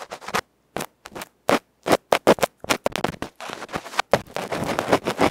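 A bamboo ear pick scratches the felt-covered face of a small electret microphone capsule in a metal can, held in fingers, then moves to the capsule's metal side edge. Quick, irregular bursts of harsh, crackly scraping come through very close and loud. The sound runs from high to low, with short silences early on that give way to a near-continuous rasping scrape.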